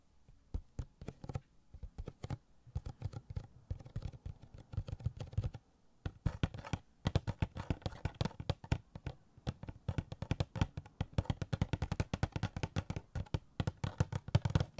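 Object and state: Cardboard collectible box with plastic window.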